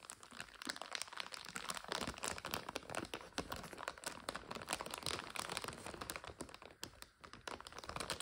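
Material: Plastic.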